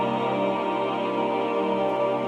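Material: Nothing is struck.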